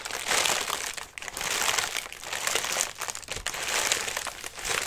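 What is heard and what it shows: Fingertips scratch and rub the pleated paper of a collapsed lime-green tissue paper lantern, folded flat on its wire frame, hollow, and held on a lap. The result is a dense, bright crinkling that swells and fades in waves, with almost no low end and a quick, dry decay.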